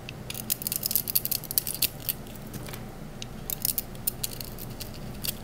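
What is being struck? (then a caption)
Painted bar soap shaved with a small metal blade. A small solid green bar of Palmolive soap painted with dark glitter paint is held in the hand and shaved along its edges with a small metal blade tool, with soap curls falling onto a marble surface. Quick, crisp scraping strokes come in bright, crackly bursts over a low steady hum, grouped at the start and again toward the end with a quieter stretch between.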